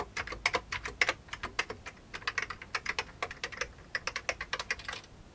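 One hand presses the keys of an old beige plastic computer keyboard with its fingertips, producing a quick, uneven run of around thirty crisp typing clicks. Each click is short and bright, centred near 2 kHz with a high edge, with almost no low end and virtually no ring.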